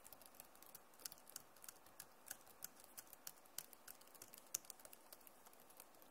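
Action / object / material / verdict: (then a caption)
tap / plastic laptop keyboard keys / plastic / none. Long nails and fingertips type on the keys of a backlit plastic laptop keyboard. About 15 quiet, short, bright clicks and taps come at an irregular pace over a faint hiss, each dying away almost instantly with no ring.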